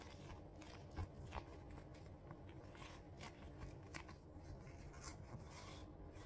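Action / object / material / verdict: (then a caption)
scrape / leather glove / leather / none. A vintage burgundy red leather glove is pulled onto the hand by the fingertips, then the gloved fist is flexed and squeezed near the camera. Quiet, low-heavy leather rubbing and creaking is heard, with brief brighter crackles and scrapes scattered through it.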